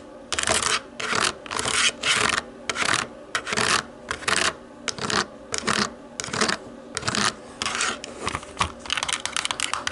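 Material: Plastic.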